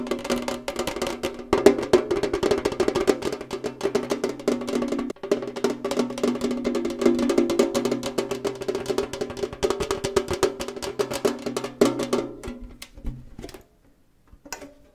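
A tall, hollow, rectangular printed metal Kellogg's tin canister has its front panel tapped fast and hard with fingernails and fingertips. The result is a dense, irregular stream of short, dry metallic clicks and knocks with a hollow resonance around 400 Hz and a bright edge. Near the end the tapping thins out, falls quiet, and a few last taps follow.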